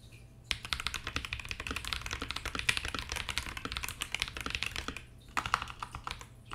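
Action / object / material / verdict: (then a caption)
tap / mechanical keyboard with plastic keycaps in an acrylic case / plastic / none. A compact 65% KBD67 Lite mechanical keyboard with Akko CS Ocean Blue switches, white and black plastic keycaps and a translucent acrylic case with red underglow rests on a desk while both hands type continuously with their fingertips. Dense, bright, crisp clacks follow each other rapidly with very short decay, pause briefly near the five-second mark, then resume.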